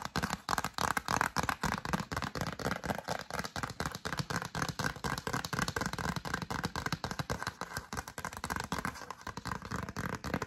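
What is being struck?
Glossy cardstock greeting card.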